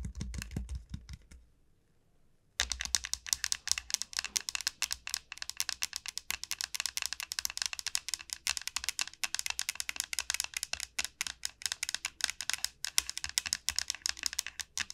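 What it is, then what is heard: Dried gourd shell tapped with nails. Both hands tap rapidly with long nails on a large, hollow dried gourd shell, making a dense stream of sharp, bright clicks with almost no ring. A brief tapping burst stops for about a second, then resumes as steady, fast clatter that continues to the end.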